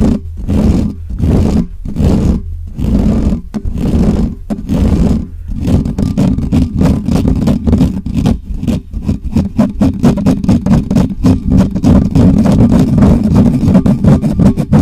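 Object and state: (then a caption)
Metal microphone grille scratched. Fingertips of both hands scratch fast across the bare, hollow metal mesh grille of a black microphone. The result is loud, boomy, low rumbling scrapes, spaced-out bursts for the first few seconds, then a rapid, nearly continuous run of short scratching strokes.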